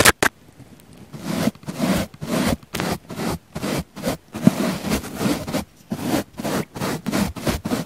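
A wooden-handled paint brush with natural bristles sweeps repeatedly across the side of a round, palm-sized pink foam sponge that is solid and soft. The result is a series of short, dry, scratchy rustling strokes with a soft low body and a bright bristly edge. Each stroke stops dead, leaving near silence between the strokes.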